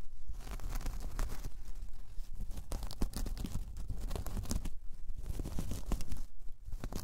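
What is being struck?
Braided jute coaster.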